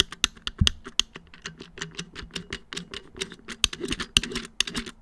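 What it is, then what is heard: Hollow plastic wall clock back. Fingertips of both hands tap and drum on the hollow black plastic back of a round wall clock, which has the movement box at its center. A rapid, uneven patter of short, dry, bright clicks sounds over a faint low hollow knock, each tap dying away almost instantly.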